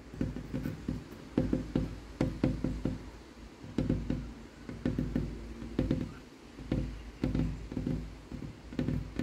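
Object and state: Wooden tabletop.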